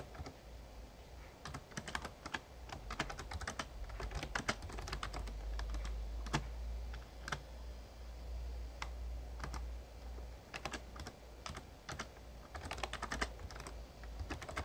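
Fingertips type on a full-size backlit plastic Razer Ornata Chroma mechamembrane gaming keyboard, producing quick, short clicky keystrokes in uneven bursts with brief pauses. A steady low hum sits underneath throughout.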